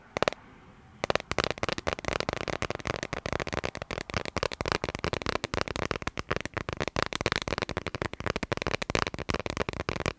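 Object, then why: Smartphone in a clear plastic case. Fingernails tap and scratch a clear plastic dragon-print case on a smartphone held horizontally. After a brief near-silent pause early on, a dense run of sharp, dry clicks and scratches follows, broadband from low to bright, each dying instantly with no ring.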